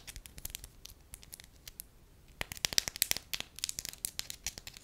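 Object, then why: Thin wax sheet. A thin, solid, beige wax sheet about the size of a hand is crinkled and scratched with long lilac nails. It gives quick, dry, bright crackles and scratchy ticks with almost no low end, soft at first and then sharper and louder in the second half.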